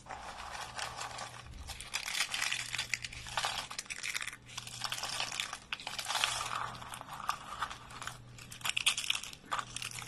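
Thin curled shavings of dry light-green soap are crumpled and broken between the fingers of both hands. The result is dense, bright, crisp crackling and crunching in uneven waves, with short lulls between bursts over a faint steady low hum.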